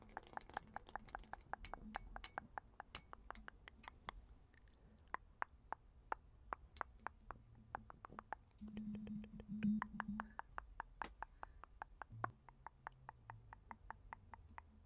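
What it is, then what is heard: Glass perfume bottle. Long nails tap and scratch a small, hollow, round purple glass perfume bottle with a textured, studded surface. Quick, sharp clinks fall in a rapid, uneven run, each with a bright edge and almost no ring, over soft scratching and a faint low hum.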